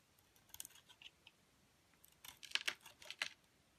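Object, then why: Bar of soap scraped with a metal blade. A metal utility blade shaves and scrapes the dark blue coating off a solid oval Lux bar soap held in the hand, peeling it away in thin curls over white soap. Quiet, crisp, bright scraping ticks come in short bursts, a sparse scatter first and then a denser, louder run near the end. Each tick dies away almost at once, with no low rumble underneath.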